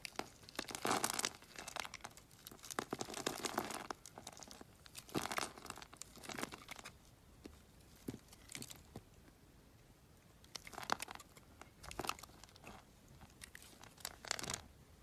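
A metal utility knife blade carves chunks off a palm-sized, solid white oval bar of glitter soap held in the hand. Bursts of crisp, bright scraping and crunching come and go with quiet pauses between them.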